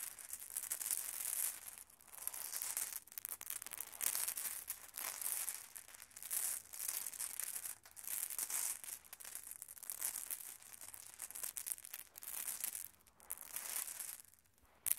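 Fingertips of both hands sweep and rub through a pile of small solid glass cat's-eye marbles on carpet, making them clack together. Quiet bursts of bright, high-pitched clicking and rattling rise and fall over about 15 seconds, with short pauses between sweeps.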